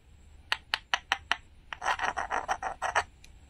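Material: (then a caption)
Wood. Metal tweezers scratch at a small, flat, solid painted wooden toy watermelon slice held in the palm, peeling its glittery sticker layer off the wood surface. Five sharp, bright ticks come first, followed by a quick run of dry, rasping scrapes as the sticker lifts away.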